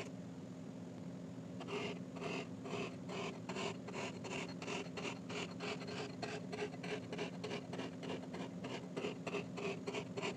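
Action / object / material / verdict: tap / kinetic sand slab poked with a metal rod / kinetic sand / none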